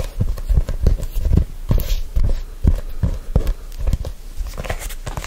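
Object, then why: Faux-leather hardcover notebook. Fingertips grip and rub a black faux-leather hardcover notebook held close to the microphone. The result is a steady run of soft, dull low thumps and muffled scuffs with almost no high-end.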